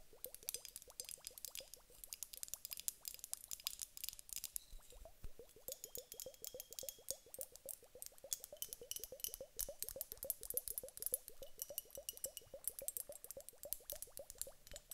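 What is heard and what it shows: A large glass hourglass filled with water gel beads, turned end-on, is tapped rapidly with long acrylic nails on its round glass bulb. The fast, steady stream of bright, clicky taps each carries a short hollow tone around 500 Hz that dies away almost instantly. It keeps a quiet, even rhythm for the whole clip.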